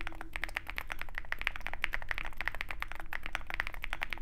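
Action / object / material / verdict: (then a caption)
tap / mechanical keyboard with metal case and plastic keycaps / plastic, aluminum / none. Both hands type rapidly with their fingertips on a compact 65% Zoom65 mechanical keyboard in a dark aluminum case with white and pink plastic keycaps. A dense, steady stream of short, clacky keystrokes with a bright click near 2 kHz plays over a low hum, and each stroke dies away almost instantly.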